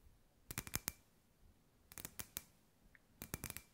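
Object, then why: Hollow clear glass sphere. Long white nails tap a hand-sized hollow clear glass sphere with fairy lights inside, a glass ball lamp. Three quick bursts of sharp, bright clicking taps, each tap dying away almost at once with a faint glassy ring, separated by quiet pauses.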